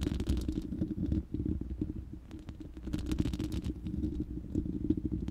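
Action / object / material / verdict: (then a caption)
scrape / steel mesh microphone grille / steel mesh / none. Long manicured nails of both hands scratch and tap the uncovered, hollow, round steel mesh grille of a large studio microphone. A dense, low, rumbling scrape runs throughout, dotted with quick, dry taps that stop almost instantly. It eases briefly in the middle before the tapping picks up again.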